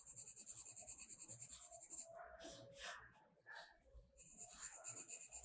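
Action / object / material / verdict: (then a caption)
scrape / colored pencil on a paper coloring book page / paper / none. A blue colored pencil is rubbed and shaded across a page of a spiral-bound paper mandala coloring book lying flat. Quick, bright, scratchy strokes form a steady hiss, easing into softer, smoother rubs midway before the fast scratching returns.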